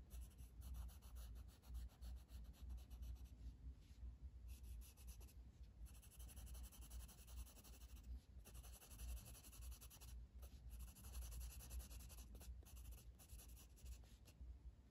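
A blue wooden colored pencil, held in the fingers, shades with rubbing strokes across a flat paper coloring book page resting on a table. The strokes make a soft, steady, scratchy scraping that repeats in an uneven rhythm and carries faint bright hiss above a low rumble.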